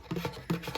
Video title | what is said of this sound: [ASMR] Guest bathroom tour (tapping, tracing, camera touching) | I feel like this is one of the best cardboard tapping and scratching sounds.